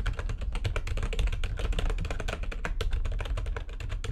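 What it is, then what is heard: Plastic computer keyboard being typed on. Rapid typing with long nails on a full-size plastic backlit computer keyboard produces a dense, continuous stream of quick, bright key clicks over a steady low thumping rumble, with no pauses across the clip.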